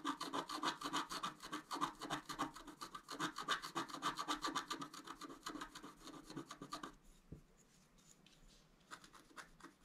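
A wooden stylus scratches the coating of a flat, black-coated scratch art card, lifting between strokes. Quick, fairly steady rasping strokes, about three or four per second, have a bright, scratchy edge and a tone near 1 kHz. After about seven seconds they become quieter and sparser, with a faint low bump, before a few stronger strokes return at the end.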